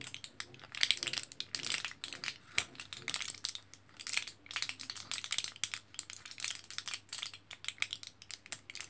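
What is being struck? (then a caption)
Foil-backed plastic blister pack of capsules. A fingertip with a short nail taps and scratches across the orange printed foil back of a plastic L-carnitine capsule blister pack held in one hand. Quick, bright crinkly clicks and scrapes come in irregular bursts with almost no low end, each sound stopping short.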